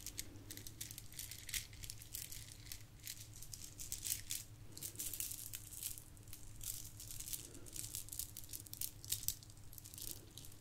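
A long strand of small shiny gold plastic beads from a Christmas garland is held in both hands with long nails and shaken, the beads clicking and rattling against each other in a dense, bright patter. A low steady hum sits underneath the continuous clicking throughout.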